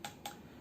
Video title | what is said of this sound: Yongnuo 42.5 F1.7 lens review - Best budget portrait lens for MFT? | It's really plasticky, kind of hollow sounding when you tap on it